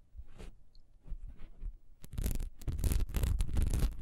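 Long nails scratch fast across the diamond-textured surface of a solid honeycomb-textured wax pillar candle lying horizontally. Soft, muffled scratching strokes come first, then about halfway through the scratching turns denser, louder and brighter, with a low rumbling undertone.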